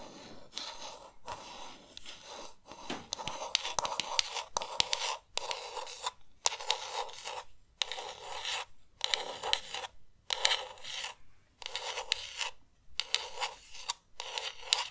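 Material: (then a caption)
Plastic. Long nails scratch and tap a pink hollow plastic game controller. The result is bursts of dry, bright scratching separated by brief pauses, with sharp little tap clicks throughout.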